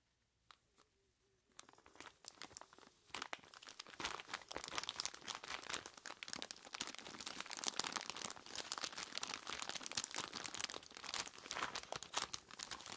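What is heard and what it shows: Hands in skeleton-claw gloves with long pointed tips grip and squeeze a large clear plastic bag full of ice cubes. After a near-silent start, bright crinkling plastic and crunching ice begin around 1.5 seconds and build into a dense, continuous crackle for the rest of the clip.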